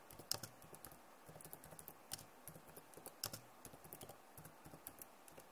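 Long nails type and tap on the keys of a backlit plastic laptop keyboard. Quiet, irregular, bright clicks and taps follow one another in a steady patter, each dying away instantly with no ring.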